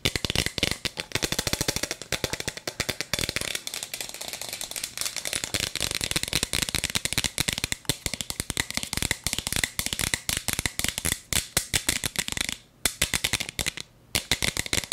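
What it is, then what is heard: Plastic bead-filled toy cup. A hollow plastic toy cup with a bead-filled chamber is held in both hands close to the mic while long nails tap and scratch fast across its plastic surface. The result is a dense stream of sharp, bright clicks and scratchy rattling with short pauses near the end.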